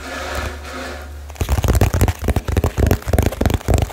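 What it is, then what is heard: Cardboard box. After a brief low steady hum, fingertips tap rapidly and hard on a small hollow cardboard box wrapped with blue tape. The quick, slightly uneven taps sound as dull, deep thumps with short, dry decays.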